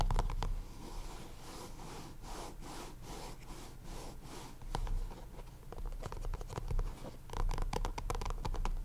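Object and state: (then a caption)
Cardboard deck box. Fingertips and short nails of both hands tap and scratch the top face of a small, hollow, purple printed cardboard deck box. Quick dry taps open the clip, give way to a steady soft scratching, then return as bursts of sharp clicks and scrapes toward the end, all over a faint low hum.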